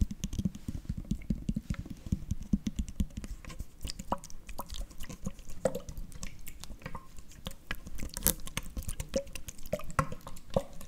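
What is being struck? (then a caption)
Plastic screw cap on a full drink bottle. Fingertips and nails tap on the black plastic screw cap of an upright, full Prime plastic bottle. The result is a rapid, uneven stream of short, dull clicks with a low, hollow thud, broken by occasional sharper, brighter nail ticks.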